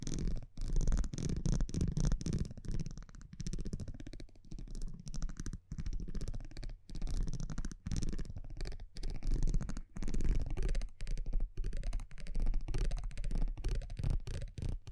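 A small metal tweezer-like tool scratches and taps across the front of a thin printed cardboard baseball trading card held in one hand. Dense, low-heavy scratching and quick dry taps come in short bursts separated by brief silent gaps.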